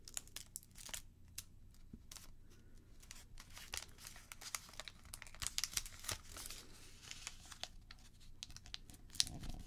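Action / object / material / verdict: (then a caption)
scrape / thin origami paper / paper / none. A partly folded red origami paper crane base is lifted and held in the hands, then folded and creased with fingertips and long nails. The result is a quiet, steady stream of dry, bright crinkles and sharp crackling ticks over a low background hum. Occasional louder snaps stand out.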